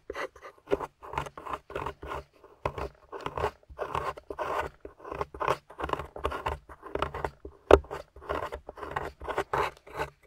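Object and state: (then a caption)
Plaster fossil dig block. A metal pick scrapes and chips at a grey plaster slab holding a yellow fossil, lying on a table while fingers hold the slab steady. A steady run of short, gritty scratching strokes fills the midrange, with one sharper, louder chip near the end.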